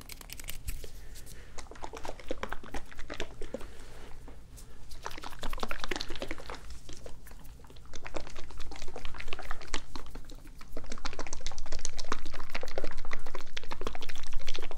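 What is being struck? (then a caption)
Small glass bottle partly filled with liquid. A small dark glass bottle with a yellow-and-white label, partly filled with liquid, is held up in one hand and shaken or tilted so the liquid sloshes. Many quick, irregular splashing and sloshing bursts come in waves over a steady low hum, growing louder and denser toward the end.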